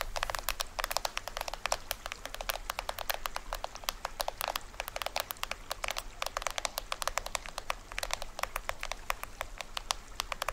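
Fingertips and nails tap and scratch the printed plastic film head of a small hollow toy drum with a green rim. The result is a dense stream of quick, dry, bright clicks and crackly scratches over a steady low hum, with no ring after each tap.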